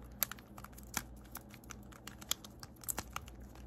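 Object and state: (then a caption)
Plastic infinity cube fidget toy. A small, hollow blue plastic infinity cube fidget toy is folded and clicked with the fingertips and nails, so its segments click together. Sharp, bright plastic clicks and ticks, a few louder than the rest, come at an irregular pace over a faint low hum, each dying away almost instantly.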